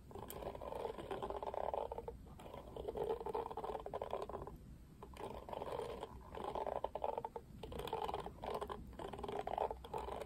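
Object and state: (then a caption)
Plastic paddle hairbrush. Fingertips strum the black plastic bristles of a pink plastic oval paddle hairbrush. The result is quiet bursts of dense, rapid ticking and rattling, concentrated in a midrange band around 500 Hz to 1 kHz. The bursts are separated by brief pauses.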